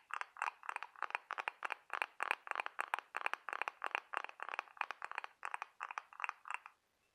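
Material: Shell.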